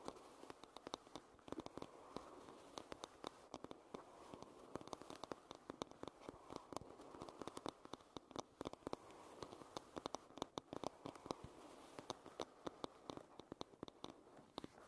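Long red nails tap and scratch the varnished back of a solid oval wooden hairbrush. Quick, irregular dry clicks land over a steady soft scratching hiss centered in the midrange. The taps are short and sharp with no ring, and the whole clip stays quiet.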